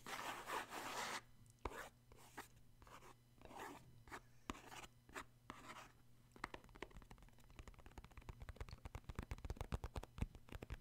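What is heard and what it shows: Short fingernails scratch and rub the printed top of a hollow, purple cardboard Puffs tissue box holding tissues, making soft, bright, papery scraping strokes. After about six seconds, the strokes give way to a quick run of dry, clicky taps over a faint low hum.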